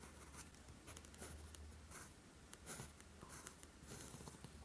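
A steel fountain pen nib, held in the fingers, is drawn across a flat sheet of lined writing paper on a desk, writing Korean letters in green ink. The nib gives soft, dry, bright scratches in short strokes over a steady low hum.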